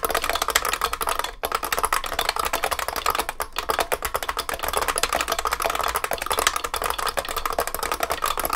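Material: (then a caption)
Plastic, metal. Fingertips of both hands type continuously on a large vintage beige IBM 3278 beam spring keyboard with plastic keycaps in a heavy metal case. Its rapid, sharp, bright clacks barely ring out before the next keystroke, with a brief dip in the flow just after the first second.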